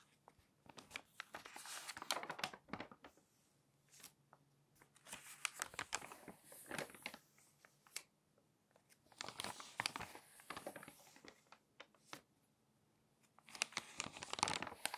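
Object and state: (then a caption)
Glossy paper magazine. Fingers flip and crinkle the pages of an open glossy paper magazine. Bursts of bright, crisp crinkling and rustling come in clusters separated by short near-silent pauses. The sound is quiet and close, with little low end and almost no ring after each crackle.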